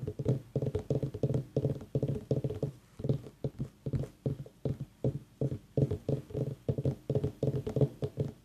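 A pumpkin is tapped with quick, rhythmic taps in short bursts throughout. Each tap is a dull, hollow, low thud centred around 140 Hz that dies away almost at once, with no high sound.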